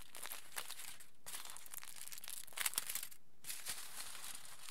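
Fingers squeeze and crinkle a crumpled aluminium foil sheet held upright. Bright, dense crackling fills the clip in three bursts separated by two brief quiet gaps, with a few sharper crunches in the middle.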